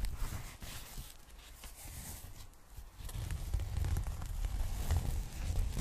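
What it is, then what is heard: Foam packing bag. Fingertips and long nails scratch and handle a large pink polyethylene foam packing bag spread open in front of the mic. The result is soft, dry scratching and rustling with dull low thumps and bright crackly edges. The sound dips quieter in the middle and then grows busier and louder toward the end.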